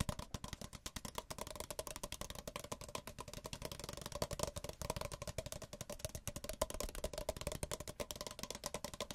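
Two identical small, empty white paper cups, one held in each hand with the open end facing outward, are tapped rapidly with fingertips and nails. The result is a steady stream of short, dry, hollow clicks and taps with a resonant tone around 630 Hz, a soft low thump beneath each tap and a bright papery tick on top.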